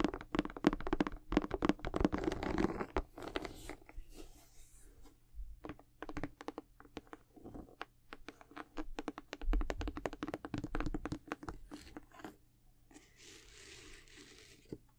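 Long nails scratch rapidly across the rubber outsole of a sneaker with a white leather and patent upper, then the shoe is turned to its side. A dense burst of dry, raspy scratching fades into quieter, scattered scrapes and soft taps, ending in a faint high hiss.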